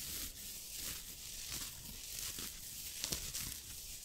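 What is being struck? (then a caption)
Knit fabric sweater. Fingertips with short nails scratch and rub the chest of a soft green knit turtleneck sweater worn on the body, in front of a silver microphone that is not touched. The result is a steady, bright, scratchy rustle with little low end, punctuated by a few sharper scratches near the end.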